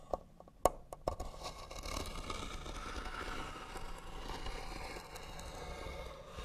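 Fingernails scratch rapidly across the lid of a hollow white wooden box. A few sharp clicks open the clip, then a steady, dense, raspy scratching continues with a hollow midrange tone and a bright, papery edge.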